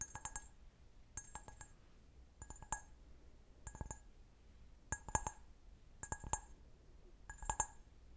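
Fingernails tap the foot and bowl of a clear, medium-size, hollow, empty stemmed wine glass held sideways. Seven quick bursts of light clinks sound, each made of several rapid taps. Each tap gives a bright glassy chime around 860 Hz with high overtones that dies away almost at once.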